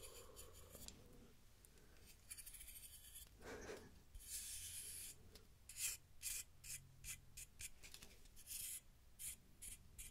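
Fingers and nails pluck and rub the teeth of a large solid wooden wide-tooth comb held up close, making soft scratchy rubbing followed by a run of short, bright, raspy plucks and scrapes. A faint low hum sits underneath throughout.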